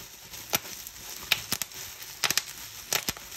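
Fingertips and nails squeeze a clear plastic bubble wrap sheet, popping its air bubbles in eleven sharp, bright snaps, some spaced apart and some in quick clusters. The pops die away almost instantly over a faint, high crinkling hiss of the plastic.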